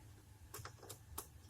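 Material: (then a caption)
Metal. The second piston of a 2006 Vitz engine is rocked in its cylinder bore, producing five short, sharp metallic knocks with bright, high clicks over a low background hum. The piston is loose, and its worn skirts are the cause of the engine knock.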